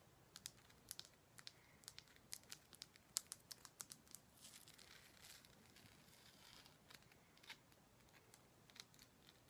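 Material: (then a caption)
Rock salt. A large, solid, pinkish Himalayan rock salt lamp is held in the hands and tapped and scratched with long black nails. Quick, bright, dry clicks come in an irregular run, then a soft scratchy rasp over the middle of the clip, then a few scattered taps. The whole clip is quiet and high-pitched, with almost no low end and no ring after each tap.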